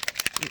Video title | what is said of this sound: Distress Oxide Resist | You can hear that little ball mixing it all together.